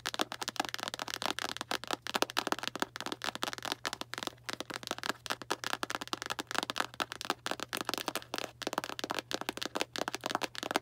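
A small Arm & Hammer cardboard baking soda box is held upright and tapped quickly on its front with long black nails. The result is a rapid, steady stream of dry, crisp clicks with a bright edge and no ring, over a faint constant low hum.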